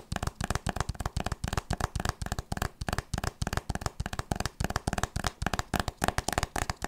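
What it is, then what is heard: Hardcover book. A solid hardcover book with a printed board cover, held upright, is tapped and scratched with long nails and fingertips. Rapid clusters of short, dry taps with low, thumping body and quick scratchy edges come in an uneven, steady rhythm, each hit dying away almost at once.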